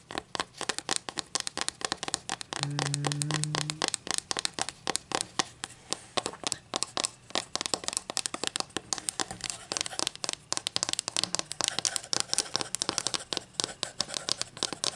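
Long matte green acrylic nails scratch along the face and edges of a thin, solid, flat wooden ruler with printed inch markings, held in both hands above a table. The result is a dense, continuous stream of quick, dry, bright scratching clicks with very little ring. A brief low steady hum sounds underneath early in the clip.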